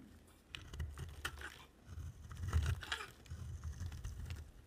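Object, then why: Bar of soap. A utility-knife blade shaves a dry, solid white bar of soap with a black outer layer, leaving white curls on the table. Quiet, low, rumbling scrapes rise and fall through the clip, with brighter crackling bursts where the blade bites into the soap.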